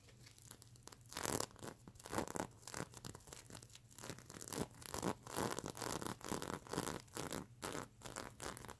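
Fingers and long nails scratch and brush the plastic sequins on a stuffed mermaid unicorn pillow. Dry, crinkly rasping strokes come in quick, uneven bursts, with bright, hissy texture and faint clicks as the sequins flip.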